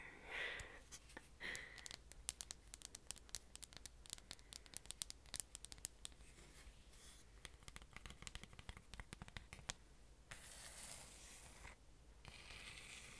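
Long orange nails tap and scratch a rustic grey wooden picture frame, held in both hands, with a printed illustration behind the front. Short scratching swishes open the clip, followed by a long run of quick, dry, sharp clicking taps that stop dead with no ring. It ends with softer, steady scratching hiss.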